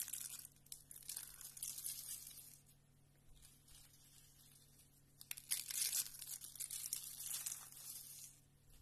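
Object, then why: Soap curls and shavings. Fingertips squeeze and crush a pile of thin, brittle, cream-colored dry soap strips rolled into hollow, rose-like spiral curls, with flat shavings around them. Bright, dry crackling and crunching bursts come in uneven waves: a quieter, sparse stretch in the middle, then a sharp, louder burst of crumbling. The curls crumble and crunch apart under the pressure.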